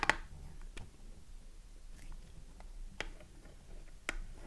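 Long nails scratch across the front of a small cardboard Dove soap box held in the hand, with the bar inside. Soft, dry scratching runs throughout, broken by four sharp, bright clicks that die away almost at once.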